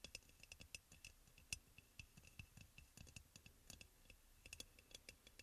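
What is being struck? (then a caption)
Glazed ceramic oil burner. Fingertips and nails tap rapidly on the sides of a hollow, white crackle-glazed ceramic aroma oil burner. The result is a quick, uneven run of short, bright clicks with a faint ringing tone near 2.6 kHz that dies almost instantly, over a soft low thump.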